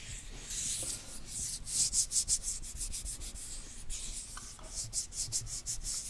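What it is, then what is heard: Plastic cosmetic jar. Fingertips rub over the printed lid and side of a small, hollow, round plastic cosmetic jar. The result is a soft, hissy scratching, mostly bright and high-pitched, with a faint low rumble. It swells into a run of quick rhythmic strokes, eases off, then picks up again near the end.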